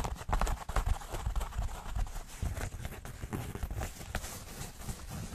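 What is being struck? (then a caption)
Denim jeans. Fingernails and fingertips scratch and crumple light-wash denim jeans, a flexible cloth with seams, held close to the microphone. Irregular, dull thumping rustles heavy in low rumble alternate with faint, bright scratchy texture over a steady soft bed of fabric noise.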